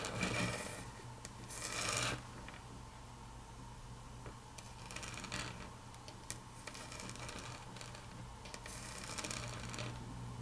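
Long natural fingernail tips click and tap on a large, flat, solid grey wood-grain laminate tabletop. Irregular, bright clicks and short scratchy rubs ring briefly over a steady low hum.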